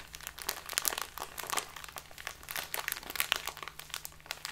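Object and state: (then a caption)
Plastic bag of loose tea being crinkled. A small plastic bag full of loose tea, held upright, is squeezed and crinkled with fingers and nails. Dense, bright crackling and crinkling rises and falls in quick bursts, with a faint steady low hum underneath.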